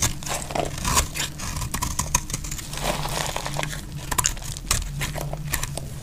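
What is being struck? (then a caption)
Bar of soap scraped with a metal blade. A metal blade scrapes shavings off the surface of a solid, dry orange soap bar held in the hand. The result is a dense, dry crinkling and crackling scrape with bright, sharp ticks over a steady low rumble.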